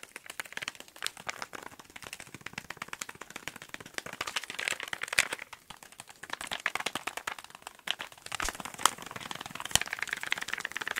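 A small, hollow pink cardboard box is held in the hands and tapped very fast with fingertips and nails in front of the mics. The result is a dense, continuous rattle of dry, bright clicks and crackling taps with almost no low end and no ring, and occasional sharper, louder taps standing out.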